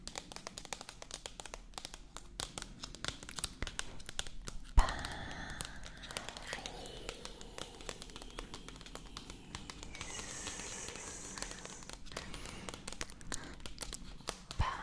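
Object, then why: Paperback book with coated cardboard cover. A slim Marco Polo Paris paperback guidebook with a glossy coated cardboard cover, held upright and closed, is tapped and scratched on its front cover with long acrylic nails. Many quick, dry clicking taps mix with soft crinkly scratching. A sharper tap stands out near the five-second mark.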